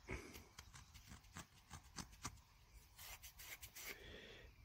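A small, solid, dirty dug-up bronze French 5 centimes coin is held between thumb and fingers while the thumb rubs and scratches the soil off its face, then the coin is laid in the open palm. Quiet, irregular scraping strokes with bright, gritty edges and a low rumbling undertone are heard, with the louder scratches clearly separated and dying away almost instantly.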